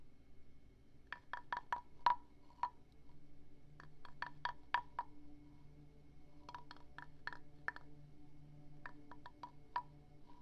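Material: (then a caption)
Wood. A wooden stick is rubbed and scraped along the ridged back of a small hand-carved wooden frog guiro, solid or partly hollow, held in one hand near a binaural mic. It produces quick runs of sharp, hollow wooden clicks ringing near 1 kHz with brief bright edges, arriving in four separated clusters. A quiet low hum continues underneath.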